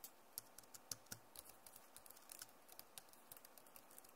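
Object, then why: Plastic laptop keyboard. Long nails and fingertips of both hands rapidly type and tap on the keys of a backlit plastic Acer laptop keyboard. About two dozen quiet, sharp, bright clicks come in a quick, uneven run, each dying away almost instantly over a faint steady hiss.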